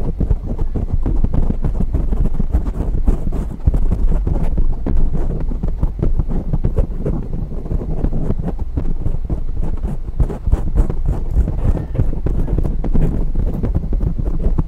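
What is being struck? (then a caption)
Foam microphone windscreen. Both hands scratch and rub a dark grey foam windscreen on a microphone with long natural nails. The result is a steady, dense stream of muffled, bass-heavy scraping and rustling with no pauses, and almost nothing in the high range.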